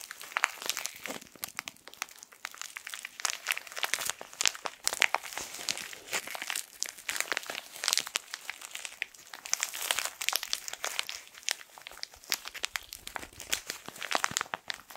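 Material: Plastic film.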